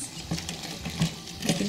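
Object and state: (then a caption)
Crispy fried chicken wings. Double-fried, corn-starch-breaded chicken wings are tossed in sauce with a spoon, giving a crisp crackling with scraping and a few louder clacks. The crackle shows how crispy the chicken is.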